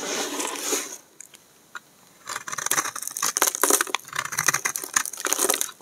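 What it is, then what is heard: Dry bar soap being shaved. A hand-sized solid tan bar of dry soap with an embossed star, held in the hand, is scraped and shaved with a utility knife blade so shavings fall off. A bright, crackly rasp fills the first second, then a near-silent pause with a couple of faint ticks. From about 2.3 seconds, a steady run of crisp, gritty scraping bursts continues to the end.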